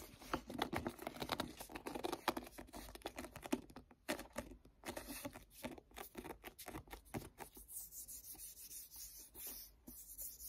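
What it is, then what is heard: Paperback book. Fingertips tap and rub the cover of a paperback book, then handle the page edge. Quick, dry, closely spaced taps and soft rubbing in the first half give way to quieter, brighter papery brushing and rustling.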